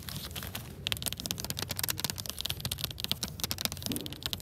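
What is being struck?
Hardcover book in a clear plastic cover.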